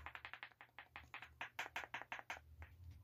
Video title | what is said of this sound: Dica de teste de capacitor eletrolítico | Mais um sintoma aí bem óbvio. O capacitor tá ruim.